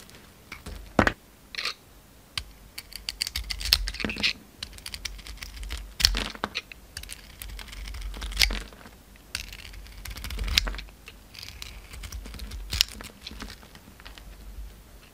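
A utility knife blade shaves the dark red outer layer off a solid oval soap bar with a pink core, held in the palm. The result is a series of short, dry scraping and crisp cutting sounds with bright, high-pitched texture. Quieter rasping fills the gaps between the sharper cuts.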